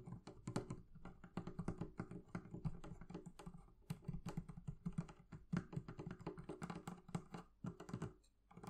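Fingers rapidly tap the leather covering of a barrel chest, making a quiet, continuous run of soft, dull taps. The taps are low-heavy, centered around 200 Hz, with almost no high content, and each dies away almost instantly.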